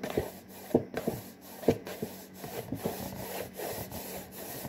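Fingers with short nails scratch and rub the front panel and top edge of a hollow, printed cardboard saltine cracker box. Dry, papery scraping is heard in uneven strokes, with a few sharper scratches standing out. The sound is mostly low-mid, centered around 450 Hz, over a faint steady hum.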